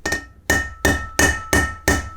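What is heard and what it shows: A steel bearing race is hammered into a Land Rover wheel hub, with six separate hammer blows. Each blow gives a hollow, ringing clank with a steady tone near 1.8 kHz that fades quickly, showing the race is not yet fully seated.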